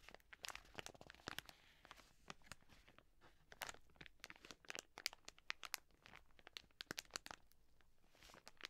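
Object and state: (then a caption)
Plastic wet wipes packet being scratched and crinkled. A full, soft plastic wet wipes pack is held in the hands while long nails scratch it and the hands squeeze and crinkle the plastic. Many sharp, bright crackles and scratchy taps come in quick bursts with short pauses, over a faint low hiss. Each sound cuts off almost instantly, leaving a crisp, close crinkling texture.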